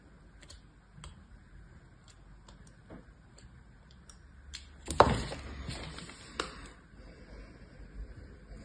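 A thin metal blade scratches a criss-cross pattern into the surface of a solid rectangular bar of white soap, held by fingers with long yellow nails, before the scored bar is lifted and shown. Faint, soft ticks and scrapes give way to a louder, crisp scraping burst that fades into quieter rasping, with another sharp click afterward.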